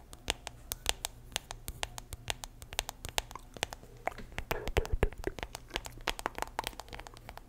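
A small, round, hollow silver metal tin with a printed paper label, contents not visible, is held close to the microphone in both hands while long nails tap and scratch its side and label. A rapid, uneven run of dozens of sharp, bright clicks and taps is heard, with brief scratchy rustles between them, over a steady low hum.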